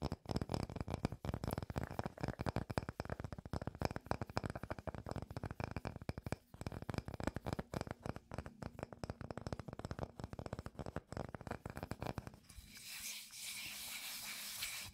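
Fingertips and nails tap and scratch on a solid round wooden tree-trunk slice with visible rings, making a dense run of quick, dry, low knocks mixed with scratchy clicks for about twelve seconds. The tapping then gives way to a steady, bright hiss as flat fingers rub across the surface until the end.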